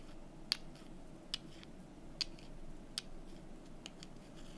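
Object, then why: Small painted wooden cubes. Long nails tap and scratch small, solid, painted wooden calendar number cubes held in the fingers, in an office. Sharp, dry, high clicks stand out at separate moments over a soft, steady scratching hiss and low background rumble, each dying away almost instantly.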